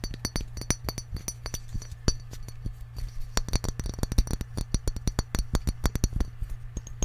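Fingertips and nails tap rapidly and irregularly on a small glass jar with a cork lid, partly filled with peppercorns. Each tap is a short, sharp click with a bright, glassy edge that dies away almost instantly. A steady low hum runs underneath throughout.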